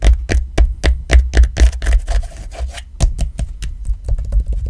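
Fingers and nails rub and scratch across a black rubber iPhone XR case and its textured grey fabric card pocket. Quick, uneven scratchy strokes come about four per second, each with a dull low thump and a bright rasping edge. A softer stretch of steady rubbing sits in the middle.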